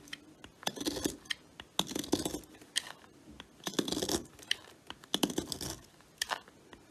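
A metal knife blade shaves thin slices off the end of a solid, palm-sized red Lux soap bar resting on a woven mat and held by a hand with long white nails. Bursts of dry, bright scraping and cutting alternate with short crisp clicks, with little low-end weight. The soap breaks off in thin shavings.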